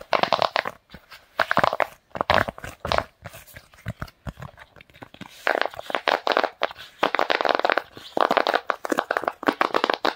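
A large round tie-dye silicone pop-it fidget toy is held against the chest while its hollow bubbles are pressed and popped with fingertips. The result is a rapid, irregular run of short, dry, crunchy pops centered in the midrange, with almost no bass and no ring, coming in dense clusters separated by brief quieter gaps.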